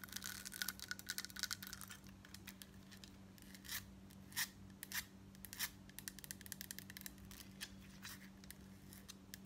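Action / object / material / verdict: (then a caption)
tap / metal bib necklace pendant / metal / none. Long nails rapidly tap and scratch a gold metal bib necklace, a large, flat, embossed gold-tone metal crescent pendant on a chain held up near the collar. Bright, dry clicks and scratchy bursts come in quick clusters with a few stronger taps, each dying away almost instantly. A steady low hum runs underneath the whole clip.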